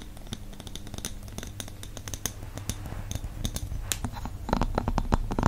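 Fingertips and nails tap and scratch the round wooden lid and the top of a medium glass candle jar filled with wax. Quick, irregular dry clicks and short scratchy strokes sit over a steady low hum. The tapping grows louder and busier toward the end.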